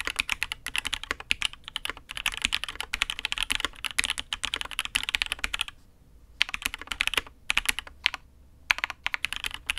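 Fast, steady typing with both hands' fingertips on a custom Matrix 8xv 2.0 mechanical keyboard with INK Black, an aluminium case and red and grey ABS keycaps. Dense, bright, sharp clacks with almost no low end stop dead after each press, with short pauses near the six- and eight-second marks before the typing resumes.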